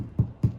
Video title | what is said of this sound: Tartine Bread Step-by-Step : Part 5 - Beginner Mistakes and Tips | You can tap on the loaf. It has that hollow sound, which people look for.